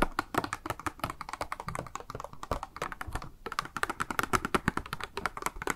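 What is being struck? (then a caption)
Plastic blister package holding a makeup sponge. Long nails rapidly tap a small, hollow, clear pink plastic cube package held in the hand, with a pink makeup sponge inside and a card hang tab. The result is a quick, continuous run of short, dry clicks and taps that ring centered around 1.3 kHz and die away almost instantly.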